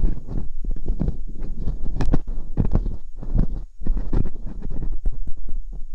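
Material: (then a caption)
Silicone. Thin metal dental picks, one in each hand with long pink nails, scratch and poke inside the canals of two soft silicone ear molds on a round white binaural microphone. The sound is a close, muffled stream of deep rumbling scrapes and soft thuddy pokes, heavy in the low end with almost no brightness, rising and falling in quick irregular bursts.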